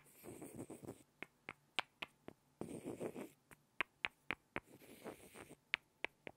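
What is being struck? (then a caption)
Small light-wood blocks. Two small solid light-wood blocks are knocked and scraped together by hand. Three stretches of soft, rough scraping each give way to a run of sharp, dry, bright knocks, about a dozen in all, that stop instantly with no ring.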